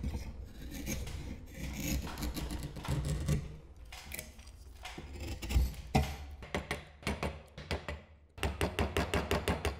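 A solid maple wood kunai held in a metal vise is whittled and scraped with a hand-held steel knife or chisel blade, producing shavings. Continuous rasping scrapes fill the first half over a low steady hum. These give way to sharper, separate bright strokes that come in quick, uneven runs toward the end.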